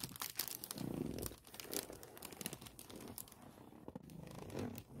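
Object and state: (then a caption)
Thin plastic bag crinkling. A hand with long nails rubs and scratches a thin, clear plastic Mosiso case bag printed with a suffocation warning, lying flat with the case inside. The plastic crinkles and crackles in quick, bright bursts, with soft, muffled low swells from the rubbing underneath. The sound stays quiet and close throughout.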